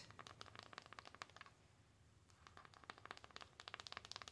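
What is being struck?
Foil-coated cardboard eyeshadow palette.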